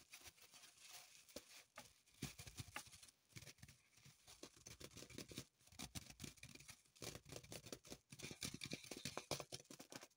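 Long pointed acrylic nails scratch and tap a small dark green floral foam block, still in its thin plastic wrapper and held in the hands. The result is a quiet, bright stream of crinkling, scratching and pattering taps with brief pauses in between.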